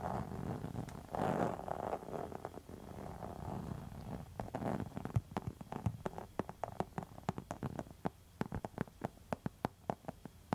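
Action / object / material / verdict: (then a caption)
scrape / textured faux leather wallet scratched with metal nail tips / faux leather / none. A pink textured faux leather wallet is scratched with long metal nail tips. The first half is a dense, continuous scratching rasp; it then breaks into quick, sharp ticks and scrapes that grow sparser and crisper toward the end, each dying away almost instantly.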